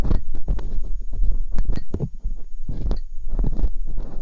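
Hooked metal dental picks scrape inside the canals of silicone binaural microphone ears, producing a dense series of close, muffled scratching and rumbling bursts. A steady low hum and a faint, high, thin tone run underneath throughout.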